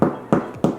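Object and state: Hollow-sounding, fully baked bread loaf.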